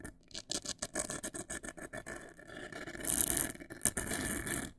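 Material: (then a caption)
Cardboard. Long nails scratch the sides and top edge of a large, hollow, black printed cardboard cosmetic box. Quick, separate dry scratches come first, then merge into a longer, louder continuous scraping rub with a bright, hissy texture.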